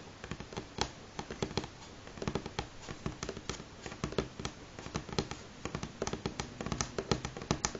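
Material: Wood.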